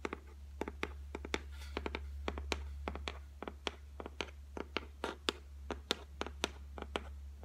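Long white fingernails tap on the flat, solid top of a white laminated shelf, making a long run of short, dry, clicky taps at an irregular pace. Each tap dies away almost instantly with no ring, over a steady low hum.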